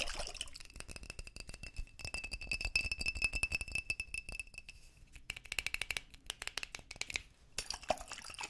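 A small, clear, hollow glass jar partly filled with water is held in both hands close to the mics while fingertips tap and handle it and it is shaken, the water sloshing inside. Fast, bright clicks and clinks rattle throughout, with a thin sustained ringing tone near 2.7 kHz through the middle of the clip. The taps are sharp and dry, dying away almost instantly.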